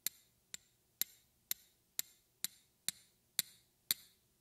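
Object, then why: Small glass vial. A small clear glass vial or tube, with a small metal ring hanging from it and held in the fingers, is tapped with long red-painted fingernails. Ten sharp, bright glassy ticks sound about twice a second, each with a very short high ring, varying slightly in strength, with the last tap the loudest.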